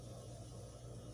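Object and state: Nothing is struck.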